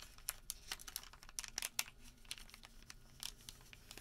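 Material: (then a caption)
Paper. A thin sheet of printed white thermal paper receipt is rolled, folded and rubbed flat on a table with bare fingertips and palm. Quiet, bright crinkling and crackling comes in a scatter of short, sharp ticks over a soft papery rustle, with little low end.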